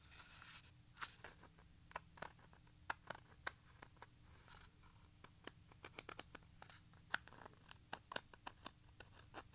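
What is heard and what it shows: A small, hollow Maxell XLII 90 plastic audio cassette with a black plastic shell and a paper label is held in both hands while fingertips and nails scratch and rub across the shell. Around thirty short, sharp, bright plastic clicks and scratches ring out over a soft, steady rubbing hiss, each dying away almost at once.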